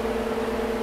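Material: Nothing is struck.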